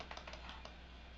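A plastic Rimmel shake mascara tube is shaken, and the mixing bead inside rattles through the formula as a quick series of soft, light clicks. A steady low hum sits underneath.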